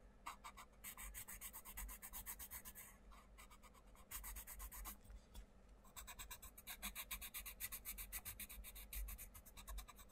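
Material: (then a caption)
Paper. A wooden coloured pencil scratches and rubs across a thin paper page of an open paperback colouring book lying on a wooden table, colouring a butterfly while the other hand holds the page flat. It makes rapid, rhythmic, bright scratchy strokes in bursts, with brief lulls near the third and fifth-to-sixth seconds before the quick back-and-forth shading resumes.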